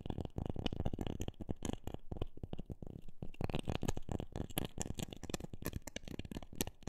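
A wooden object is tapped rapidly with dense, irregular fingertip-like taps. The hits are dull and low-pitched with no ring, each dying away almost instantly in a quick, continuous patter.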